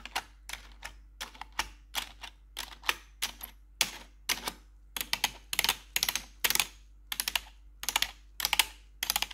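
Four long, pointed metal nail claws worn over blue gloves rapidly type and tap on the keys of a black plastic RGB backlit computer keyboard. The result is bursts of sharp, bright clicking and clattering that cut off quickly, with almost no low end and short quiet gaps between the flurries.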